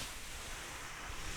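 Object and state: Nothing is struck.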